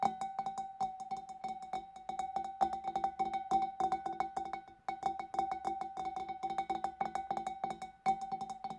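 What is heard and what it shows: Fingers and nails tap rapidly on the inside of the rim and neck of a large, clear, empty glass fish bowl. The quick, short taps carry a steady glassy ring near 780 Hz with a light, bright click on top, and the tapping runs in uneven bursts with a brief pause around the fifth second.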